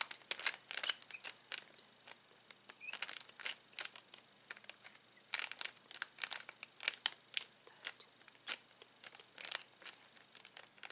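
Fingertips rub the cardboard header and press a clear plastic bag full of uninflated latex balloons. The result is a quiet run of short, bright crinkles and crackles, with almost no low end and each burst dying away almost instantly.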